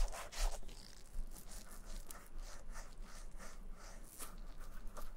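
Black nitrile-gloved fingertips lightly rub the heel and side of a black leather shoe, making soft, dry swishing strokes on the smooth leather. The strokes come in repeated bright bursts over a faint low rumble.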